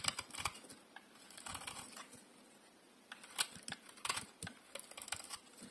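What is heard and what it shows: A solid bar of dry, translucent pink soap, held in one hand, is shaved and carved with a metal utility blade. Quiet, crisp scraping and crackling strokes come in short, bright bursts with little low end, separated by brief pauses. Each stroke cuts off sharply with almost no ring.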